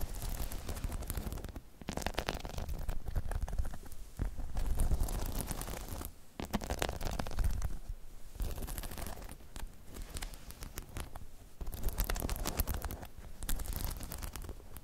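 Long chrome nails scratch across the spikes of a hollow spiky rubber half-dome balance pod, making dense rubbery scratching and crackling in repeated strokes with brief pauses between them. The sound is mostly low and rumbly, with sharp bright flicks as the nails catch on the spikes.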